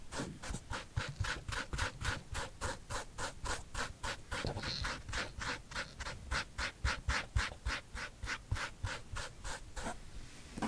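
A fingernail repeatedly scratches the side panel of a hollow, empty white leather sneaker with a smooth upper and a gum rubber sole, held up in one hand. Around thirty quick, dry scratches sound in a steady rhythm, each a brief bright rasp over a low body. The clip ends in a short stretch of hiss.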